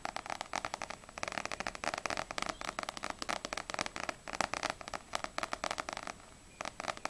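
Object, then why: Paperback book with glossy paper cover. Long acrylic nails tap rapidly on the glossy paper cover of a small, solid paperback manga, No.6 volume 1. Quick, crisp clicks come in dense bursts with a brief pause near the end. The taps are bright and dry with almost no low end, and each dies away at once.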